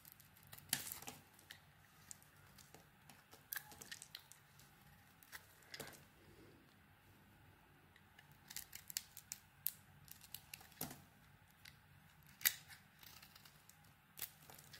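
A solid oval bar of soap with a bright green coating and a pale green core, held in the hand, is carved with a metal blade. Quiet, crisp scraping and crumbly cutting sounds come in scattered bursts, bright and dry with almost no ring.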